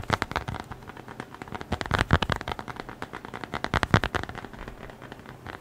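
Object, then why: Leather-covered notebook. A small, closed, flat brown leather-covered notebook or wallet is held in the hands and tapped quickly with the fingertips and nails. The result is a rapid, uneven stream of short, dry taps with a soft low thump and some brighter clicking, with a few louder taps around 2 and 4 seconds.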